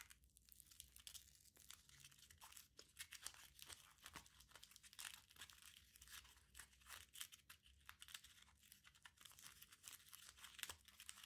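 A small crumpled aluminium foil ball is squeezed and rubbed between the fingertips. It gives a steady run of dense, bright crinkling and crackling with quick, sharp snaps and almost no low end.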